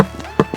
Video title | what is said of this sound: HOW TO MAKE FORTUNES BECOMING A HONEY BEE KEEPER #honeybee #beekeeping | the empty side will make most noise